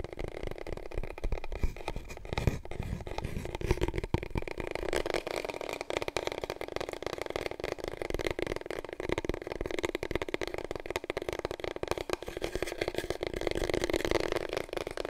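Long fingernails scratch and tap rapidly along a long, hollow, empty cardboard paper roll tube held diagonally. The result is a dense, continuous stream of dry scratches and quick taps with a hollow, boxy resonance in the low mids. Each tap dies out almost instantly.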